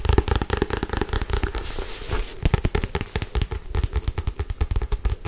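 A solid Harry Potter paperback book with a paper cover is held upright and tapped fast on the cover with long white nails. The result is a rapid, dense stream of dull, low, crackly taps with very short ring, broken around the two-second mark by a brief bright scratchy rustle.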